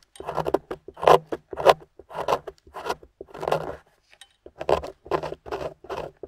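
A metal pick carves grooves into the top of a solid gold-painted plaster excavation bar held in the hand, with a pile of crumbs beside it. Short, dry, gritty scraping strokes come in irregular bursts with brief pauses and a longer break near the four-second mark. The sound is crumbly and crackling, centered in the midrange with little low end.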